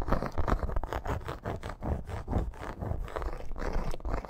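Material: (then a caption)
Faux leather. Long nails scratch fast across a red snake-embossed faux leather bracer with metal studs along the edge. The result is a steady, rapid run of dry, rasping scrapes, dull and low-heavy with little brightness, each stroke ending almost at once.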